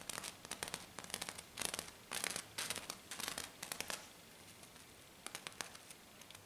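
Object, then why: Glitter-coated sheet scratched and tapped by fingernails. Long black nails rapidly scratch and tap a flat, silver glitter-coated sheet, producing quick, irregular bursts of bright, dry crackling and scraping. The strokes come in dense clusters and briefly go quiet after about four seconds before sharper taps resume.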